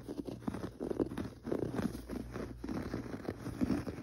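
Fingertips scratch and pat the pile of a gray textured carpet on the floor. The result is a dense, soft, dull scratching and patting texture with quick muffled taps. It sits mostly in the low and middle range and has almost no ring.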